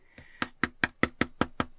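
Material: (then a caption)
Plastic. Seven sharp knocks on the fiber-reinforced plastic back panel of a Xiaomi 17 Ultra smartphone, evenly spaced with a faint tone near 2 kHz before the first. Each knock is short and dry, with almost no ring. It sounds hollow, like a balloon, because there is empty space behind the panel, which gives slightly under pressure.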